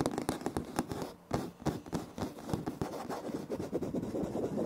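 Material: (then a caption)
Laminate. Both hands scratch a light wood-grain laminate floor, flat and solid, with short nails and fingertips, adding some taps. The result is a quick run of dry, crisp scratches and knocks with short decay and little high-end brightness, broken by a brief quieter gap near 1.2 seconds.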